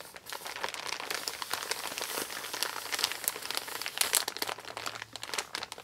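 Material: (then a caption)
Kraft paper. A large, empty, brown kraft-paper Amazon mailer bag made of recycled paper lies flat on a table while fingertips and nails rub, smooth and crinkle its crumpled surface. The result is a continuous, bright, papery crinkling and scratching with dense, quick rustles and almost no low end.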